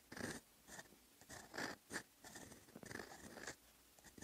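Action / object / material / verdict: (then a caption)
scrape / steel fountain pen nib on a sheet of writing paper / paper / none. A fountain pen's steel nib scratches and strokes across a flat sheet of lined writing paper while writing. Short, dry, bright scratching bursts come and go in uneven strokes, with brief quiet gaps between them.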